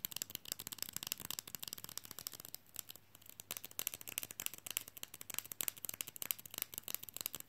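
A small, flat, solid, glossy white rectangular fridge magnet printed "I like big books" is held in one hand and tapped fast with fingernails on its face and edges. The result is a quiet, dense stream of short, bright, dry clicks with almost no ring, easing briefly around the third second before picking up again.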